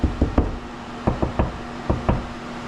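Knuckle-style taps along a drywall wall during a mini-split installation produce eight short, dull, low-pitched knocks in three quick groups, with a faint steady hum underneath. The taps sound solid rather than hollow, marking a wood stud behind that spot.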